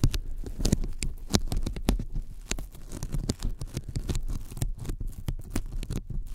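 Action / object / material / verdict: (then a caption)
tap / thin polyethylene foam sheet / polyethylene foam / none. Sticky fingertips rapidly tap a thin white closed-cell polyethylene foam sheet lying flat in front of the microphones. The result is a quick, uneven patter of soft, dull taps, each with a faint tacky peeling crackle. The sound is mostly low and thuddy, with short bright ticks and almost no ring.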